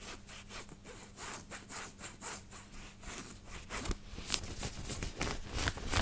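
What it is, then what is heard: Fingernails scratching a cotton t-shirt. Fingertips and nails scratch and rub the collar and chest of a white knit cotton t-shirt worn on the body. Quick, bright, scratchy strokes repeat at about three per second over a faint steady low hum, growing a little louder and more uneven toward the end.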